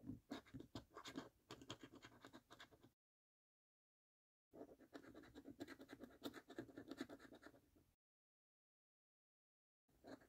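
A coin edge scrapes the last game panels of a thin, flat paper lottery scratch card in quick, rough strokes, then the coin is lifted at the end. The scratching comes in three bursts separated by silent pauses, with a dry, gritty rasp centred in the low mids and brighter scraping texture above.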